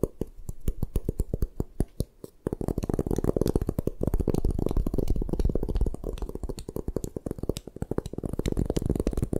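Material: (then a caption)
Chalk. A solid white gym chalk block is held upright in both hands while long nails scratch and tap its sides. Spaced, dull clicking taps give way after about two and a half seconds to a dense, rapid, continuous patter of short scratches and taps. The sound is muffled and low-heavy, with almost no brightness and no ringing after each hit.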